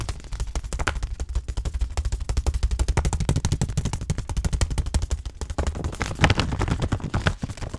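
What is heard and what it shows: A white stand-up granola pouch of laminated paper and plastic, with its contents inside, is held in both hands and rapidly tapped with the fingertips on its back panel. The result is a dense, uneven stream of short, dull, low thumps with a faint papery crinkle between them.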